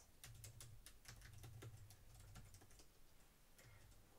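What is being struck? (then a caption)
Plastic laptop keyboard. Fingertips with dark-painted nails type on a black plastic laptop keyboard resting on a wooden desk. Quick, bright plastic key clicks come in short bursts over a steady low hum.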